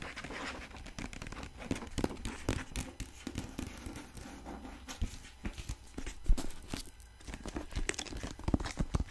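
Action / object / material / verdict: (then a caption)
scrape / hardcover book with paper dust jacket / paper, cardboard / none. A medium-sized solid hardcover copy of the novel "One of Us Is Lying" in a glossy paper dust jacket is held up close in both hands and scratched and tapped across the cover with long pink acrylic nails. Rapid, dry taps and scratches mix with crinkling, possibly from the loose jacket. The sound has a muffled, low-heavy body and short, clicky attacks that die away almost instantly.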